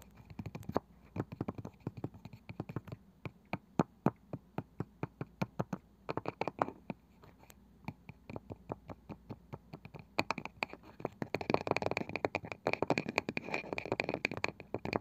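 Fingertips and nails tap rapidly on the pale wooden lid of a small, palm-sized round wooden box with a woven side, which seems hollow. The taps are short and dry with a low, woody knock and almost no ring, and they come in a quick, uneven stream. Toward the end the sound turns denser and busier, with brighter, scratchy texture filling the gaps between taps.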